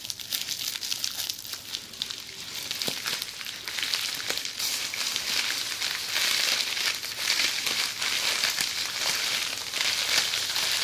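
Red plastic bubble wrap laid over a bundle is scratched and tapped with long metallic-red nails while the fingers press and crinkle the bubbles. The result is a steady, bright crinkling and crackling with many quick taps and scratches, which grows slightly louder partway through.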